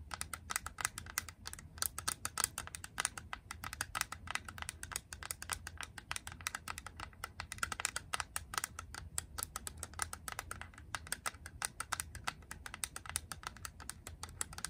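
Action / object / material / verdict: tap / plastic game cartridge / plastic / none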